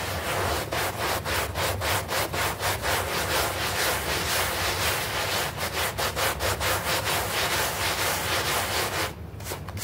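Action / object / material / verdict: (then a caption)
scrape / artificial-grass doormat scrubbed with a bristle brush / plastic turf / none. A bristle brush scrubs a small, foamy green artificial-grass synthetic turf doormat in circular and straight strokes. It makes a steady, rough, bright scratching hiss that swells with each stroke at about two per second. Near the end the scrubbing briefly drops away before a few lighter strokes.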